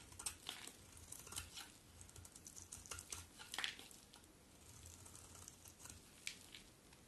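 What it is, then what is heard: Bar of soap being carved. A solid cream-colored soap bar held in the hand is carved with a metal utility knife blade, with repeated shaving strokes peeling off thin flakes. Quiet, bright, crisp scraping and crackling come in quick irregular bursts, each dying away almost instantly, over a faint low hum.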